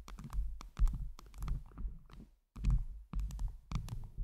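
Long pointed jeweled nails tap on a round microphone head covered with blue acrylic heart gems. The result is a run of quick, irregular clicky taps over a heavy low thump, with a brief silent gap partway through before the tapping resumes.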